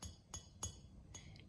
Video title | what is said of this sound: Welcome to my death pile……and how to recover | It sounds solid. If I heard like pink, pink, it could mean that there was a crack.